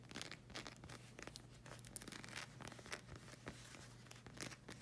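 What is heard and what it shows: Long red acrylic nails scratch and tap the solid black rubber sole of a slide sandal. Dense, bright scratching crackles and quick tapping clicks come in uneven bursts over a steady low hum.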